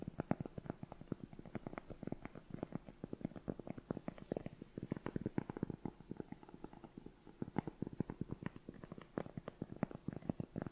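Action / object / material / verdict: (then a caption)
tap / cork coaster / cork / none. A round, flat, solid cork coaster is held in both hands close up while its surface is tapped and scratched with long nails. Quick, soft, dull taps come in a steady, dense stream, each short and dry with no ring, weighted toward the low-mid range. Faint scratchy texture fills the gaps between the taps.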